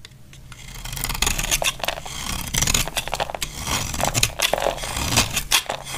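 A palm-sized, solid, dry pink bar of soap held in the hand is shaved and scraped with a snap-off utility knife blade, and the shavings crumble off. The clip is a run of bright, crisp scraping strokes with short rasping bursts that build from quiet to steady, close-up cuts.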